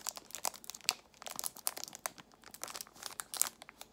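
A small clear plastic box of false nail tips in a cellophane wrapper is squeezed and crinkled with long nails, and the loose tips inside may rattle. Quiet, bright, dry crackles and crinkles come in quick irregular bursts with sharp snaps and no low end or ringing.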